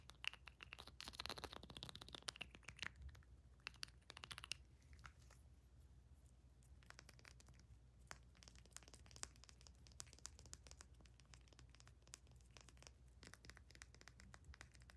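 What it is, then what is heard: Small amber glass dropper bottle. Long nails rapidly tap and scratch a small amber glass dropper bottle with a black plastic cap and a paper label, moving between the cap and the glass. Dense, bright clicks and scratchy friction run through the whole clip over a steady low hum, busiest in the first few seconds and then continuing as quieter, quick taps.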